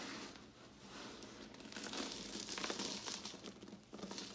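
Hands with long glittery nails grab, squeeze and crumble a pile of broken white and red-swirled solid bar soap chunks on a pink surface, rubbing the pieces together. The result is a steady, bright crunching and crinkling crackle that swells in the middle and ends with a few sharper crunches.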